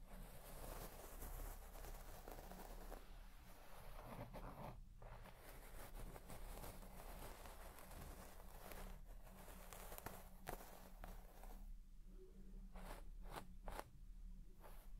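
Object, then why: Shaggy textile carpet scratched with a plastic comb. A white plastic comb scratches through the deep, soft pile of a large red shaggy textile carpet while the other hand rests on the carpet. The result is a quiet, continuous, dry rustling and scratching over a steady low hum, with a few brief, brighter scrapes near the end.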